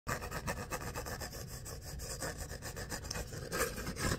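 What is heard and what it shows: Short fingernails and fingertips scratch and rub along the ribs of an empty, hollow paper coffee cup of about 12 oz, with a corrugated kraft-paper sleeve and a white rim. The result is a steady, raspy scraping, like sawing, with a quick back-and-forth rhythm and brighter strokes near the end.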